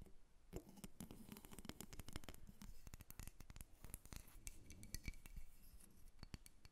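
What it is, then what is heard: Carved wooden figure tapped and scratched with nails. Long nails scratch and tap a solid carved wooden dolphin, first resting on a table and then lifted close to the recorder. The result is a dense run of quick, dry clicks and scratchy strokes that stop short with no ring, heard at a soft level.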